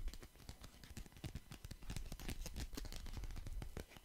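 Fingers riffle, flick and shuffle a deck of paper playing cards with blue and red backs close to the mic. A dense run of quick, crisp card snaps and flutters blends soft low thumps with bright papery clicks into a continuous rustling patter.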